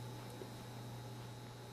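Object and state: Nothing is struck.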